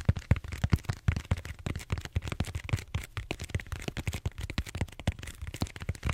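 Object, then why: Bead-foam styrofoam roller. Fingertips tap and scratch the surface of a large purple bead-foam styrofoam roller held horizontally. About 29 quick, dull, low thumps come in a rapid, uneven run, each dying away almost at once with a faint scratchy texture between them.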